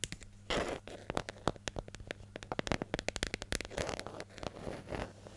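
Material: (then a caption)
Plastic. Long nails scratch and tap the lid and side of a medium yellow, hollow plastic hair gel jar held in hand, making around thirty sharp, dry clicks with brief crackly scratching in between. Each tap stops almost instantly with no ring, over a faint steady low hum.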